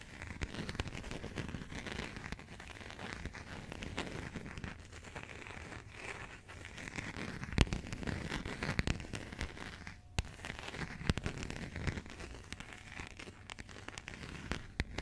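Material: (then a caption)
Coated cardboard. Long nails tap and scratch the coated cardboard cover of a burgundy passport. A steady, dry crinkling scrape runs throughout, broken by sharp clicking taps, with a brief near-silent gap around ten seconds. The sound is close and low-weighted, with some bright rasp on top.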